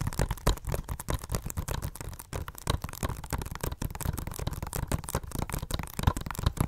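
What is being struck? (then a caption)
Plastic Blu-ray case. Long nails tap rapidly on the cover of a hollow plastic Blu-ray case of Inglourious Basterds held upright. The result is a dense, uneven stream of short, dry clicks with hollow, low thumps beneath them, each dying away almost instantly.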